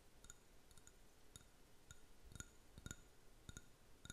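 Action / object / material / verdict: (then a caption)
tap / small ceramic paint cup / ceramic / none. A small, empty, hollow white ceramic paint cup, held in the hand, is tapped with fingernails in a quiet, irregular series of light taps. Each tap is a short, bright click with a brief high ring that dies away almost at once, over a soft low background rumble.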